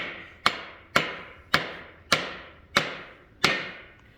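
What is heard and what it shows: A hammer gently taps a metal main bearing cap down into a Chevy LS engine block, giving six separate bright, metallic knocks with short ringing tails. The tone changes as the cap becomes fully seated in the block.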